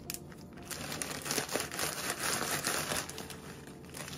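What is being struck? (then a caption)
Plastic zip bag with cookie crumbs. A thin clear plastic zip-top bag partly filled with crushed dark cookie crumbs rests on a wooden board while fingertips and palms press, crinkle and shift it; a rolling pin lies nearby unused. Bright, dense plastic crinkling and soft gritty crunches rise and fall in irregular bursts throughout, with faint low background hum underneath.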